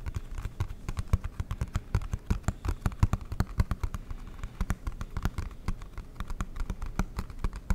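Fingertips and nails tap rapidly on the lid and sides of a large, flat, dark blue cardboard Monopoly board game box with an embossed logo. The hollow box gives dense, uneven runs of low, dull thuds mixed with sharp clicks. Each tap dies away almost instantly.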